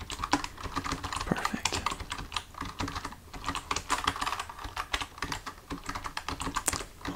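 Fingertips of both hands type on a full-size black plastic computer keyboard resting on a desk, with the hands staying on the keys throughout. A steady stream of quick, dry key taps with very short decay mixes soft low thumps and clicky mid and high tones, and the rhythm varies from dense bursts to brief pauses.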